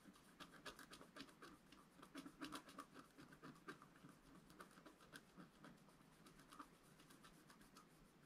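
A pointed wooden stylus held in the fingers scratches a flat black wax-coated scratch art paper sheet, about A4, lying on a table while the other hand holds the sheet. Quiet, rapid, somewhat irregular scraping strokes follow one another, each a short dry rasp with a bright hiss over a soft low-mid body. The strokes die away almost instantly with no ring.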